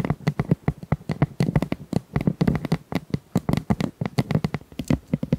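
Long nails scratch and tap along the ribs of a hollow pink corrugated plastic pop tube, about 25 cm long and tilted. The result is a quick, uneven run of short, dry, hollow taps with a low resonant tone near 176 Hz, each dying away almost instantly, with faint scratchy ridging between them.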